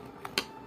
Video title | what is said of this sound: మినప్పప్పు గారెలు😋అమ్మ, అమ్మమ్మ ఇలా తయారు చేసేవారు👌మన ట్రెడిషనల్ ఆహారం😍రోజు కో ప్రత్యేకత❤️rotinewlog | కరకరలాడుతుంది పైన మొత్తంగానే సౌండ్ వస్తుంది